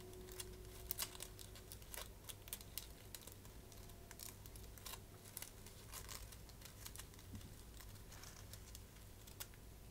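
A small, shiny metallic plastic gift bow made of foil ribbon with hollow loops is held in both hands while long painted nails and fingertips scratch and crinkle the loops. Soft, dense crinkling and scratching comes through as many quick, sharp, bright ticks over a steady low hum.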